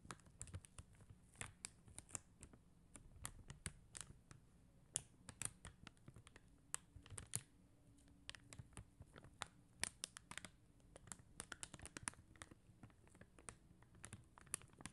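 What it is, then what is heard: Plastic rhinestone sticker sheet. Long acrylic nails tap and scratch quickly across a flat sheet of faceted clear and blue plastic rhinestone stickers on white backing. The result is a rapid, irregular stream of sharp, bright clicks and scratches with almost no ring, over a faint low hum.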